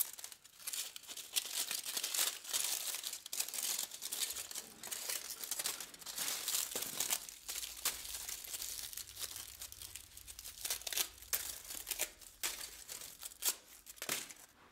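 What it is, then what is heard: Aluminum foil being crumpled and torn. A thin sheet of aluminum foil is crumpled and torn into pieces by black-gloved hands on a white table, with scraps of the same foil lying around. Bright, crackling crinkles and sharp little tearing snaps come in dense, uneven bursts throughout, almost all high-pitched with very little low end.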